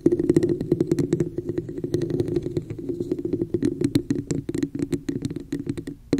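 Long nails tap rapidly on the sides of a hollow red textured plastic cup with an embossed pattern, held over the mic. The taps come as a dense, uneven stream of short, dry clicks over a hollow resonance around 340 Hz, each dying away almost instantly.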